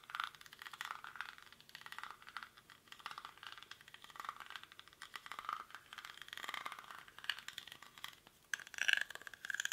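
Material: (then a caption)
Rattan. A hollow, cylindrical woven rattan or reed basket, held in both hands, is scratched quickly with fingernails across its weave. The result is a dense, dry, crackling rattle concentrated around 1–2 kHz with bright edges and no low end. A few short, brighter squeaky tones poke out near the end.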